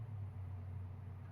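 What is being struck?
Nothing is struck.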